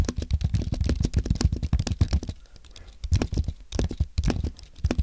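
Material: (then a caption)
Aluminium, plastic. Fingertips type on a compact white aluminium and plastic Apple keyboard. Rapid, soft, low thuddy key taps come in quick bursts, with a quieter, sparser stretch in the middle before the fast typing resumes.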